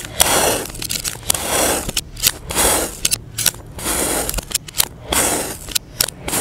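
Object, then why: Kinetic sand mound cut with a knife blade. A utility knife blade repeatedly slices through a solid, egg-shaped, palm-sized mound of yellow kinetic sand, with a blue sand dome sitting untouched nearby. Long, gritty, bright scraping swells alternate with short, sharp crackling ticks as the blade cuts and drags through the packed sand.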